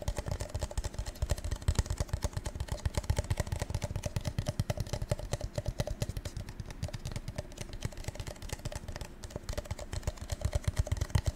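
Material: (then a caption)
Coated paper. Fingertips tap rapidly and steadily on a gold metallic-coated paper cup for about eleven seconds. Each tap is a short, dull, low thump that dies away at once. A faint ring sits behind the quick patter.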